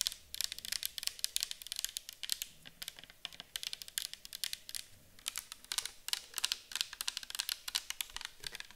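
A round, clear bottle with a white cap, likely plastic and partly filled with orange liquid, is held in the hands, tapped with long nails and tilted. Quick, bright, clicky taps come in steady, irregular clusters throughout, each dying away almost instantly with almost no low end.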